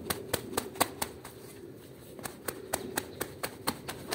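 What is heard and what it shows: A green plastic-bristle broom scrubs quickly across a small foamy woven rug on the floor, making 15 sharp, bright bristle swipes in a steady rhythm. The swipes come in two bursts with a short pause between them, over a low rustling bed.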